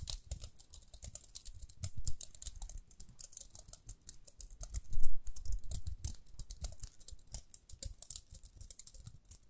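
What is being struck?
Plastic round hairbrush.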